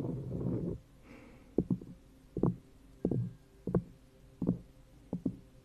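Long nails scratch and swipe across a round, thin cork coaster resting on top of an upside-down plastic cup. A muffled, low-heavy swipe of about three quarters of a second opens the clip, followed by a quiet stretch and then short, dull scratching bursts, often in quick pairs, at uneven intervals.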